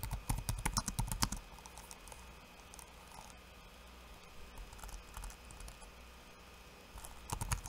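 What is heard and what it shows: Fingertips of one hand type on a backlit laptop keyboard with plastic keycaps, making quick, short, clicky key taps with a soft low thump and a bright tick. A burst of taps in the first second and a half gives way to a long quiet stretch of faint, sparse taps, and a second burst comes near the end.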